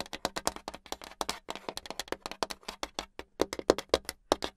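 Long pink acrylic nails tap fast on the flat, solid surface of a brown hardboard clipboard with a metal clip. About 31 quick, dry clicks in an uneven rhythm, each with a bright edge and almost no ring.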